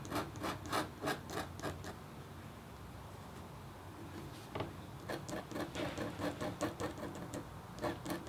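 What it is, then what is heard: Copper foil scratch art board being scratched. A red-handled, metal-tipped stylus scratches across a thin, solid, flat black-coated copper foil scratch art board. It makes a series of short, dry scraping strokes with a bright, raspy edge, and a quieter stretch of softer rubbing in the middle. Then the quick strokes pick up again.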